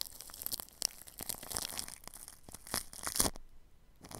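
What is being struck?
Plastic cling film wrapped over a microphone.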